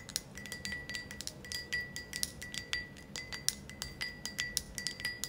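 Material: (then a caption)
Glass. Long acrylic nails tap quickly and irregularly on the outside of an empty, thick, wavy green glass ashtray. Each tap is a sharp, bright click with a faint glassy ring at about 2 kHz and a higher shimmer above it. The steady tapping stays soft, with little low end.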